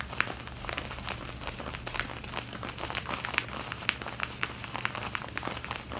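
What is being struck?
Cotton denim jeans.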